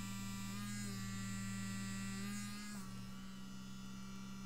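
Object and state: Nothing is struck.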